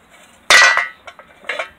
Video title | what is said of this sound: What's inside paint cans & another old tv is put to rest. | you ever wonder what's inside when you shake the can and hear it rattle